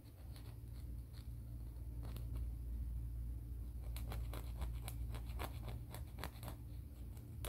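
Fingernails are rubbed and filed along the abrasive surface of a grey emery board nail file, producing quiet, brief scratchy strokes that repeat at an uneven pace and grow denser in the second half. A steady low hum sits underneath throughout.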